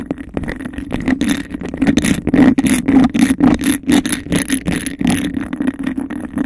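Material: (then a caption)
Glass. Long nails tap and scratch fast and aggressively on a clear, textured glass cup held hollow over a microphone. The result is a dense, irregular run of quick clicks and scrapes over a steady hollow, boomy resonance, with bright crackling texture on top.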